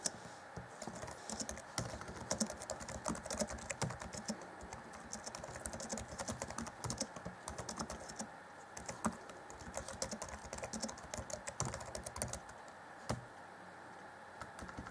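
Fast typing on the black plastic chiclet keys of an Acer Chromebook C20 (2014) laptop keyboard, with both hands striking the keys using their fingertips. The result is a steady, dense patter of short, dry, bright clicks with very little ring, and a few louder taps stand out along the way.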